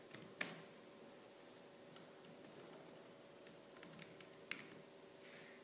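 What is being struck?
Plastic laptop keyboard keys.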